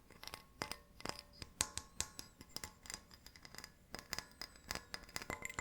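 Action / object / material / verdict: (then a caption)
tap / glass light bulb / glass / none. A glass light bulb is pulled out of its box and tapped, giving a quick, irregular run of bright, glassy clicks and small ticks with faint rustling between them. Each tap is sharp and high-pitched and dies away almost at once.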